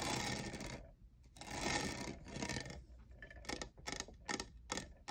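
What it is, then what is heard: Textured plastic tumbler. Fingertips and nails tap the lower sides of a hollow, lavender, diamond-textured plastic cold cup with a lid and straw. Long, bright, rustling bursts of tapping come first, then a run of short, separate, crisp taps with a hollow plastic click.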